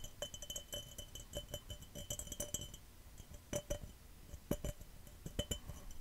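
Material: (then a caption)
Glass. A glass cup is tapped quickly and hard, giving bright, short clinks with a ringing tone near 580 Hz and a faint higher overtone. The taps come in a dense run over the first three seconds, then more sparsely with a few sharper strikes. Soft scratchy noise fills the gaps between them.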